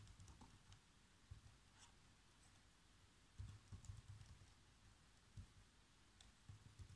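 Fingertips type on the black plastic keys of a laptop keyboard, producing quiet, repeated key taps. Each tap is a soft, low thump with a faint bright click that dies away almost at once. The taps come in irregular bursts over a steady low background hiss.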